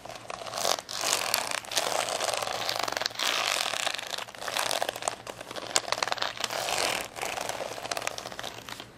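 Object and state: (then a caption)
Plastic rhinestone sticker sheet. Long nails scratch along the purple and blue gem rows of a plastic rhinestone sticker sheet folded into a curved stack on a towel. The result is dense, bright crinkling and crackling in steady bursts, separated by brief dips in loudness.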